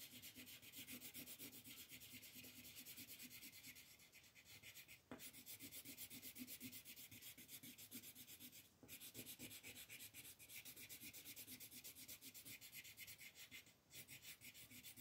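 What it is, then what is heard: Colored pencil shading on paper. A yellow colored pencil, held by fingers with long nails, is rubbed in dense shading strokes over a paper coloring sheet lying flat. The result is a quiet, bright, scratchy rubbing of about 41 quick back-and-forth strokes, roughly four per second. Brief pauses fall near 5, 9 and 14 seconds.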